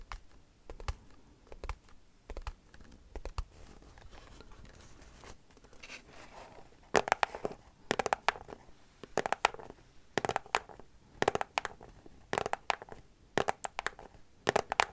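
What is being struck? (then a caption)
Small cardboard product box. A small white cardboard product box with a hanging tab is tapped and scratched with long nails. Soft, sparse scratching and light taps fill the first half, then from about seven seconds come louder, sharp, dry taps in quick clusters with a papery, mid-pitched crackle and almost no ring.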